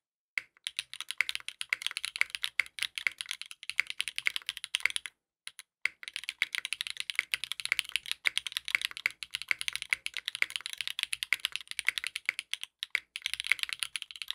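A compact 60% mechanical keyboard with a dark purple case, purple ABS keycaps and a polycarbonate plate sits on a desk mat and is typed on continuously with the fingertips of both hands. The result is a fast, dense stream of short, bright plastic clicks and clacks with almost no low end, broken by a brief pause about five seconds in.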